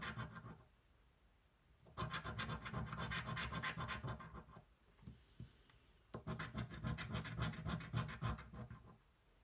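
The edge of a metal coin scratches a thin, flat cardboard scratch-off lottery ticket resting on a table. A brief scrape at the start is followed by two bursts of rapid, rhythmic scratching strokes, with quiet pauses between them. Each burst has a gritty, papery texture, low thumps beneath it and a bright rasp on top.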